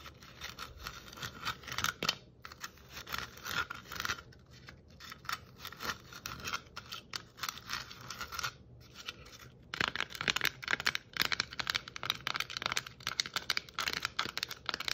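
Long nails tap and scratch the surface of a hollow red and white striped plastic Christmas ornament ball with a metal cap. Quick, bright, dry clicks and scratchy rasps come in dense bursts, growing busier and louder in the second half.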